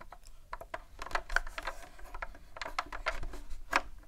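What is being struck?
Plastic game console casing.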